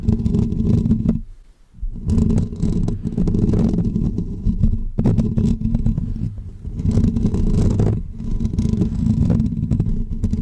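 Short natural fingernails of both hands scratch the hollow, dome-shaped woven metal wire grille of a pink condenser microphone. The result is a dense, low, rumbling scrape with rapid fast-decaying clicks and a faint bright hiss. It runs almost continuously, with a brief quiet gap near the 1.5-second mark.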